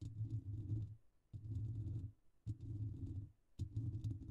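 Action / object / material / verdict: scrape / metal wire-mesh microphone grille / metal mesh / none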